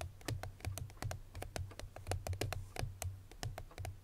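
Long fingernails of both hands tap rapidly on the front face of a small, unwrapped, cream-colored Chloé paperboard perfume box, which is hollow. About two dozen quick taps each give a hollow low thump around 90 Hz with a sharp, bright click on top. Every tap dies away almost at once.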